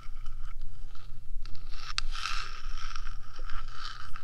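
Long nails scratch and tap the top of the small, hollow, rectangular metal box body of a 3Dio binaural microphone, sometimes moving toward its edges. Bright, gritty scraping and crisp clicks sit over a steady low rumble, with a sharp tap near the two-second mark.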